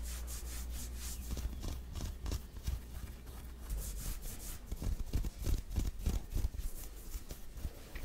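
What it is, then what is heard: Cotton shirt fabric being scratched. Fingertips and nails of one or both hands scratch the fabric of a grey printed long-sleeve cotton shirt worn on the body, across the chest and shoulder. Quick, irregular strokes make a bright, raspy scratching, with a steady low rumble underneath.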